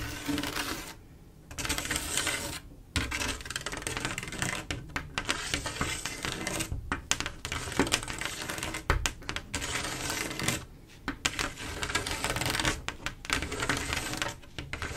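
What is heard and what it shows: Long acrylic nails tap and click rapidly across a large, solid, flat glass mosaic tile picture made of silver mirror-like tiles. The result is a dense stream of sharp, bright clicks with very short ring, broken by a few brief pauses.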